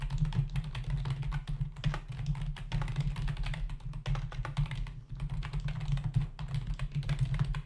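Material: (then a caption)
Plastic. Fingertips of both hands type fast on a full-size black plastic membrane computer keyboard with hollow keys, resting on a desk. A steady stream of quick, short clicks and taps rides over a constant low hum that holds most of the energy.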